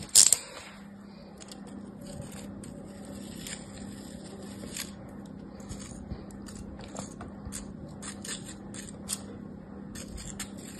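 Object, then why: Kinetic sand in a plastic mold. A metal craft knife is drawn across solid packed kinetic sand in a hand-held yellow plastic bear-shaped mold, scraping and cutting slices. A sharp, loud scrape opens the clip, then a steady, soft, bright gritty scraping continues with small crackling peaks over a faint low hum.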